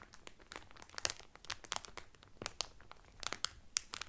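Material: Cellophane.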